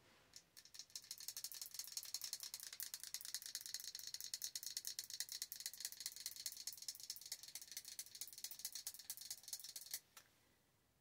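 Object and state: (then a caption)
Glass jar candle tapped with nails. A large glass jar candle filled with solid wax is tapped fast and repeatedly on its glass side by long orange nails. The result is a dense run of crisp, bright clicks and light rattly taps that lasts about ten seconds and then stops.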